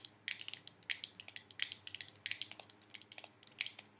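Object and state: Plastic game controller.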